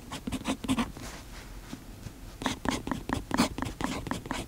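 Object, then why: Metal pen nib on a paper notebook page. A fountain pen's metal nib writes on the page of an open paper notebook. Quick scratchy strokes come in two bursts separated by a quieter stretch of faint scraping, each stroke short with a dry, bright edge.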